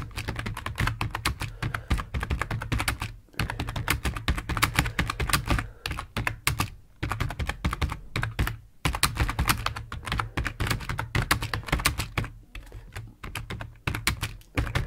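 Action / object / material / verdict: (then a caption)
tap / plastic computer keyboard / plastic / none. Fingertips of both hands type on the keys of a full-size black plastic computer keyboard resting on a wooden desk. Rapid, dense clicks and clacks come in bursts, broken by brief pauses, over a steady low hum.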